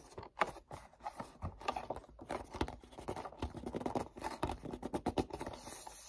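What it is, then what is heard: Cardboard gift box. Fingertips rub and grip the back surface of a hand-sized black printed cardboard perfume set box, hollow with bottles inside. Dry, scratchy rubbing and short gripping taps overlap in an uneven, continuous texture centered in the midrange, with bright edges. Each sound dies away almost at once.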